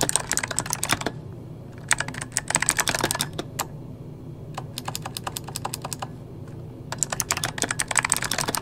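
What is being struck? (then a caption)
Mechanical keyboard with plastic keycaps. Fingertips of both hands type on an RGB-backlit mechanical keyboard with plastic keycaps, producing quick, bright, sharp clicks in four rapid bursts separated by short pauses. Each keystroke dies away almost instantly, over a faint steady low hum.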